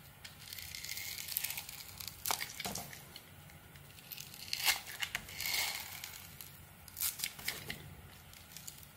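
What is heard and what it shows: A small metal blade carves ridged strips off a palm-sized, hand-held solid white bar of soap with a red glitter coating. It makes crisp, bright scraping and crinkling cuts with sharp clicks between them. The sound is mostly high-pitched, with almost no low end.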